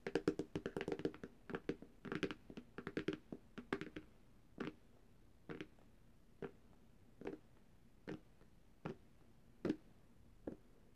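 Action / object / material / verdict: tap / glass tablet screen / glass / none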